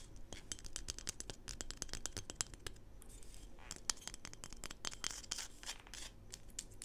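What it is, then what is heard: Plastic toy figurine. A small solid PVC plastic Smurf toy figurine is held in the hands and tapped and scratched with long pink acrylic nails. Quick, sharp, bright clicks come in dense bursts, mixed with short rasping scratch strokes. Each tap dies away almost instantly over a faint low rumble.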